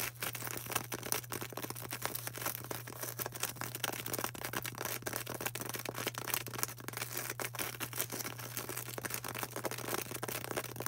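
Long orange nails quickly scratch and tap a solid white polystyrene foam ball. The result is a dense, continuous run of crisp clicks and scratchy rustles over a steady low hum.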